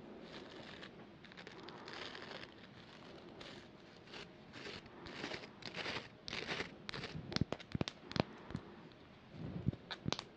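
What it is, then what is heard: Plastic toothbrush. A small plastic manual toothbrush with a pink and white handle and green bristles, held in both hands, is scratched and flicked across its bristles by fingertips and long nails. Its handle is also tapped. Soft, crackly bristle scratching builds into sharper, brighter clicks and flicks toward the end.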